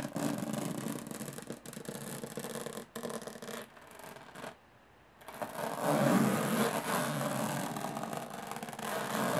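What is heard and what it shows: Long nails scratch and tap the textured lid of a closed, hollow aluminum carry case, alternating fast and slow strokes. A dense, raspy scraping with light taps fades to near silence for about half a second, then returns louder and brighter.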